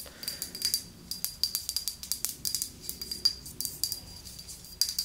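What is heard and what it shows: A medium red glass mist bottle filled with red liquid, with a silver cap, is held in both hands and tapped with long nails. The result is a quick, irregular run of light, bright clicks, each with a brief high glassy ring that dies away almost at once.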